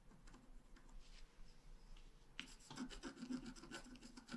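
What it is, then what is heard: Scratch art card being scratched. A wooden stylus scratches short strokes near the top of a thin, flat, black-coated scratch art card. Soft, faint scratching over a low hum builds at about 2.4 seconds into louder, brighter rasping strokes that continue in a quick, uneven rhythm.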